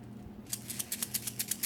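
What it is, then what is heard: Candy-filled straw rattle, good rattle sound. A plastic straw partly filled with pearl candies, left not full so it sounds better, is shaken to test its rattle. After a quiet low hum, ten quick, bright rattling bursts follow in a steady rhythm. The result is a good rattle sound.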